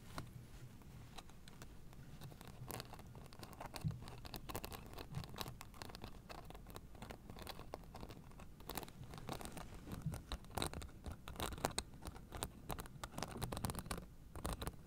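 Long nails scratch across the white plastic spike discs of a blue fabric acupressure mat held flat. The result is a quiet, dense run of rapid scratchy clicks and rasps with short, bright ticks over a soft low rumble, each tick dying away almost at once.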